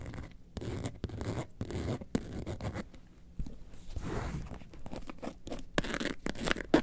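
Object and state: Faux leather bag scratched with nails.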